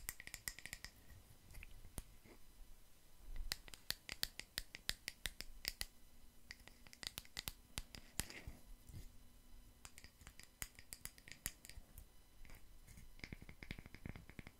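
A palm-sized solid natural wood slice coaster, held near the mic, is tapped and scratched with long nails wearing metal paperclips. Many sharp, quick clicks and taps sound with a bright metallic edge, broken by soft scratching passages, and each hit dies away almost at once.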